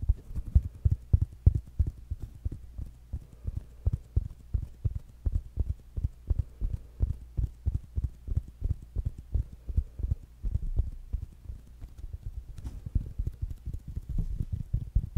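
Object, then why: Small fabric-covered speaker. A small rounded black smart speaker with a fabric mesh cover is held in the hands and tapped with fingertips and nails. The result is a rapid, steady stream of soft, dull, low thumps that die away almost instantly, with a few slightly sharper clicks from the nails.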